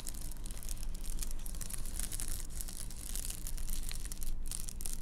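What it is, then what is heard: Reflective bubble-foil car sunshade. Long acrylic nails scratch and rub across the quilted surface of a large, thin, flat, foldable car windshield sunshade made of hollow-celled metallized bubble foil with a fabric edge, lying on a table. The result is a steady stream of dry, bright crinkling and scraping over a constant low rumble, swelling and easing with the strokes.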